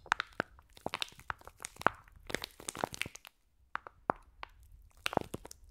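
Long nails squeeze and scratch a clear plastic pack of green foam bead slime held above the microphones. Irregular, dry crunching and crackling pops come in quick clusters, with a brief silent pause midway. Each snap is sharp and bright with almost no ring.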